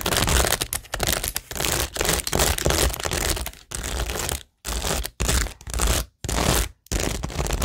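Long nails tap and scratch across a cork board studded with acrylic rhinestones and pearls. The result is dense, crackly scratching in bursts that run from a low rumble up to bright, gritty clicks, broken by several short silences in the second half.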